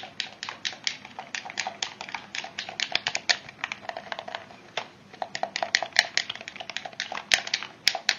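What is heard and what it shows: A hollow, hand-sized pink plastic PlayStation-style gamepad is clicked and tapped by fingertips on its buttons and shell. The result is a quick, irregular stream of short, bright plastic clicks and taps, some louder than others, with almost no low end.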